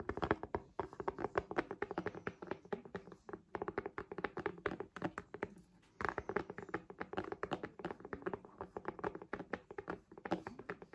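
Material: Plastic.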